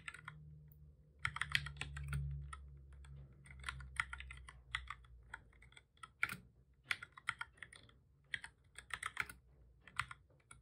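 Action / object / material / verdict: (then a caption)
tap / plastic computer keyboard / plastic / none. Both hands type steadily with their fingertips on a full-size black plastic computer keyboard with a hollow body, resting on a desk. The sound is a run of short, bright, clicky key taps in quick clusters, each dying away almost at once. A low, steady hum sits underneath, strongest in the first few seconds.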